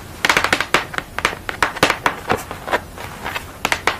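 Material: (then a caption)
Paper. Long nails scratch and tap the textured orange area of a flat paper portrait on a thin board lying on a towel. About eighteen crisp, dry taps and scrapes come in a quick, uneven series, each dying away almost at once.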